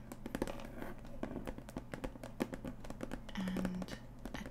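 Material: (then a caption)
Cardboard. Long acrylic nails tap and scratch the printed lid of a closed kraft cardboard punch-needle kit box with a printed label, lying flat. Quick, dry, short taps mix with rough scratching over a steady low hum. A brief low tonal buzz runs near the end.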